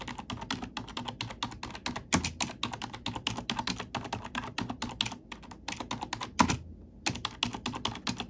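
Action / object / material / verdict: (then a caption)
tap / plastic computer keyboard / plastic / none. Black plastic keycaps on a plastic computer keyboard are tapped and typed on with an index fingertip and long nail, giving roughly 55 rapid, short, bright clicks. Two heavier, deeper thunks stand out near 2 and 6.4 seconds, followed by a brief pause before the quick typing resumes.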